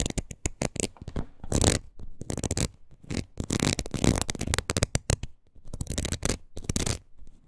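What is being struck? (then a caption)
Ridged rubber wood-graining tool scratched with fingernails. Long nails scratch across the ridges of a palm-sized red rubber wood-graining tool with a hollow curved pad. The result is rapid, uneven bursts of dry scratching and scraping, with a hollow low rumble beneath bright crackly texture.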